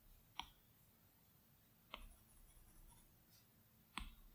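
A plastic Apple Pencil tip taps three times on the large, flat glass screen of an iPad Pro, spaced irregularly about two seconds apart. Each tap is a short, dry click with a mid tone near 950 Hz and a bright upper edge, and it dies away almost at once against a quiet background.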